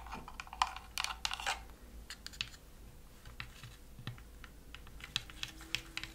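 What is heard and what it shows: Long nails tap and scratch across the thin plywood-style panels of a wooden Christmas village house decoration. Quick, bright, dry clicks and raspy scrapes come in uneven clusters over a faint steady low hum, each tap dying away almost at once.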